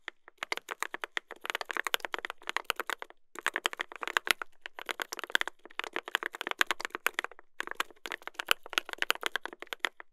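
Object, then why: Mechanical keyboard with brass plate and plastic keycaps. Two hands type steadily with their fingertips on a mechanical keyboard with a brass plate and plastic keycaps. Rapid, crisp clacks land in bursts separated by brief pauses. Each keystroke is short and bright, centred in the mid-highs with almost no low end or ring.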